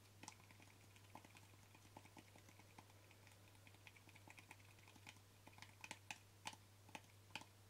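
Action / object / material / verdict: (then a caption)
tap / plastic cream jar lid / plastic / none. Short fingernails tap the flat lid of a small white plastic cream jar with a yellow label. Quick, light clicks with a bright ring near 2.5 kHz come at an uneven pace, some louder than others, over a steady low hum.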